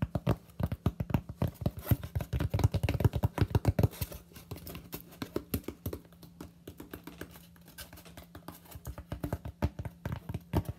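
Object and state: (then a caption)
Styrofoam sheet. A flat, solid white expanded polystyrene sheet, roughly notebook-sized, is held up in front of the face with both hands and tapped on its face with fingertips and short nails. The quick taps are dull, low and dry, with no ring, louder and denser for the first four seconds, then lighter. A faint steady low hum runs underneath.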